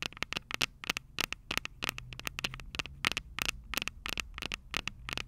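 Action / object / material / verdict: tap / metal microphone capsules on a small handheld recorder / metal / none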